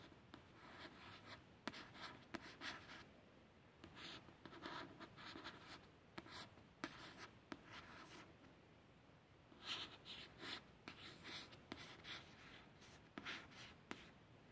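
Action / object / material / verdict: scrape / paperback book with glossy card cover / glossy card / none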